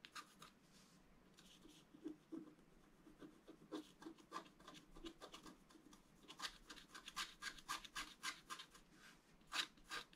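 A wooden stylus scratches the black coating off a flat scratch-art card, black over colored foil, lying on a table, working in strokes. The result is a quiet run of short, dry, bright scratching rasps at an uneven pace, with denser, louder strokes in the second half.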